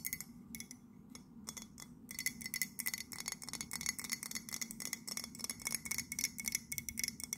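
Long nails tap quickly and repeatedly on the body and base of an empty white ceramic mug with a blue handle and a London print. The result is a rapid series of bright, clicky taps, each with a faint, very short glassy ring near 2 kHz, over a soft low hum.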